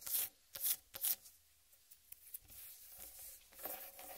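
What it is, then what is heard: Whole watermelon. Long red-painted nails scratch and tap the green striped rind of a large whole uncut watermelon. Bright, hissy scratching bursts alternate with small, dry taps that die away almost at once. Near the end, a softer, steady rubbing follows.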